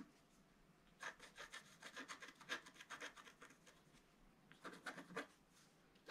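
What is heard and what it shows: A thin wooden stick scratches the coating off a flat, black-coated scratch-art paper page while the other hand rests flat on the page. Quick, dry, rasping strokes come in a dense run of about three seconds, then a short pause, then a second, shorter flurry. The scratches are bright and papery, centered around 1.6 kHz, with almost no low end.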